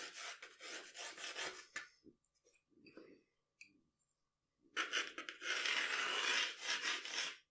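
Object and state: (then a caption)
Pencil scratching on drawing paper. A wooden pencil draws long, scratchy strokes across a flat sheet of drawing paper on a table. A dense, bright rasping opens the clip, drops to a near-quiet pause with a few faint ticks and light scrapes, then returns louder and steadier to the end.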